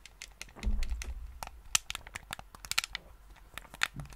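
A hollow, hand-sized black hard-plastic gamepad is held close to the microphone while fingertips press its buttons and tap its shell. About fifteen short, dry clicks and taps sound with bright, sharp edges. A soft low rumble swells early on beneath them.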